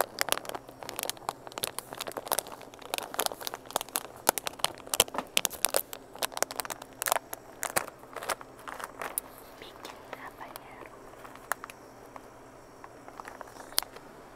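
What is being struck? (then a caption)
Plastic foil chip bag. A medium red Bacon Habanero tortilla chip bag of crinkly plastic/foil film, sealed and full of chips, is held in both hands and squeezed, rubbed and crinkled with the fingertips. Dense, sharp crackling crinkles come in rapid bursts for about the first nine seconds, then thin out into sparser, quieter crinkles over a low steady background.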